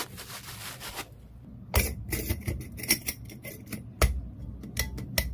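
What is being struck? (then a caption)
Small glass clip-top jar with wire clasp. Long fingernails scratch and tap a small, empty, hollow clear glass jar with a glass lid and metal wire clasp, working over both the lid and the sides. A second of dense, rustling scratching fades into a short quiet gap. Then comes an uneven run of sharp, bright clicking taps that die away almost instantly.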